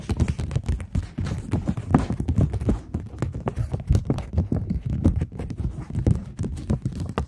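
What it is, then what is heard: Polymer banknote. A thin plastic polymer £20 banknote is held in front of the microphones and tapped and scratched with the long nail tips of several fingers. The result is a rapid, dense run of short, dry taps with a soft low thump and crisp bright clicks, mixed with brief scratchy rustles.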